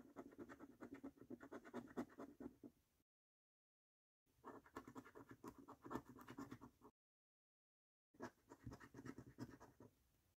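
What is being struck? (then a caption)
Thin cardboard scratch card with latex coating, scraped by a coin. A coin held in the fingers scratches repeatedly across the game panels of a £15 "Snack Stack" paper lottery scratch card with a latex scratch-off coating, while the other hand steadies the thin cardboard card flat on a dark wooden table. Three bursts of quick, dry, rasping strokes are heard, separated by silent pauses, with a papery midrange grain and short, dull scrapes that die away almost instantly.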